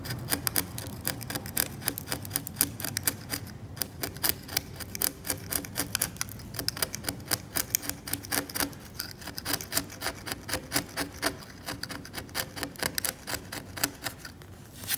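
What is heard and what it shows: A scalpel blade scrapes the varnish off a cracked, varnished oil painting on canvas in rapid, short strokes. Each stroke is a bright, dry scratch that dies away almost instantly. The scratches come about four a second in a loose, uneven rhythm over a faint low background.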